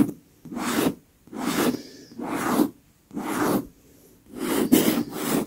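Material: Leather.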